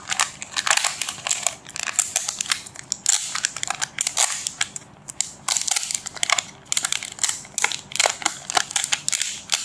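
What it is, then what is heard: Crinkled plastic bag over a magazine. Both hands rub, grip and crinkle the thin clear plastic bag wrapped around a large white-covered magazine with their fingertips. This makes a dense, steady run of crisp, bright crackles and rustles with no low end. Sharp snaps rise briefly above the softer rustling throughout.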